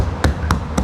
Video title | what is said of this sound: Siap FULL SOUNDPROOF - Proton Saga Project - Episode 7 | selama ni kalau kita ketuk atas ni dia apa? Kosong sangat lah. Dia lembut. Dia agak lembut. Tapi yang ni memang boleh dengar bunyi dia kan, memang lain lah.